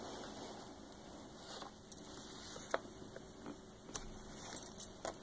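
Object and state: Glossy paper book page tapped with nails.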